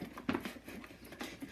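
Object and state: Whipped cream, no longer sloshing when shaken.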